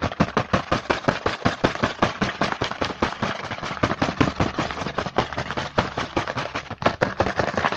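A small printed cardboard Hanuta snack box is held in the hand while fingertips tap and scratch fast across its front. Rapid, uneven taps with short, dry decays are heard over a continuous papery scratching hiss, reaching up into the bright range.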